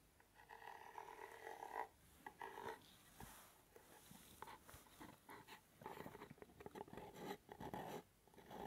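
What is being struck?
Small paper-covered cardboard box.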